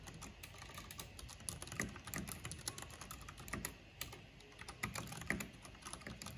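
Fingertips with long painted nails type rapidly on a full-size backlit mechanical keyboard with black plastic keycaps on hollow switches, pressing and clicking the keys. A dense, quiet run of short, dry clicks and clacks comes through, with a low body under bright, crisp tops and each stroke dying away almost instantly.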